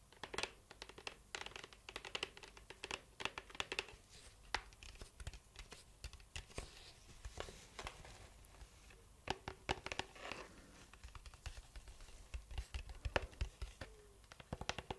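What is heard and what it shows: Fingertips and long manicured nails tap and scratch a large, hollow, apparently empty cylindrical cardboard gift box with a shiny gold foil surface, held in both hands. The result is quiet, rapid, dry clicks and crisp scratchy crinkling that stop almost instantly, with no ringing.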